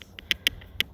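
A rock is tapped against another rock while searching for stones to skip. This produces a quick series of sharp, bright clicks with almost no ring. Four loud knocks stand out over fainter taps.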